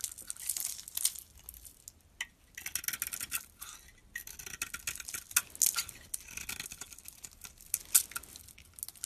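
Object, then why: Soap bar. A utility knife blade scrapes and cuts layers off a solid pink glitter bar soap with a white interior, held in the palm. Bright, crisp scraping and crackling shavings come in uneven bursts with short pauses, the sound sitting almost entirely in the high range with very little low end.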